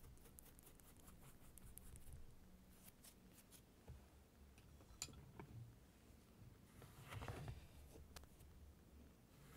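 A thin wooden stick pokes and scratches into a flat layer of blue kinetic sand, cutting lines and crumbling small clumps. Quiet, grainy scraping and soft crunches are heard, with a few sharp high ticks and a brighter, denser scratch near the end over a low background hum.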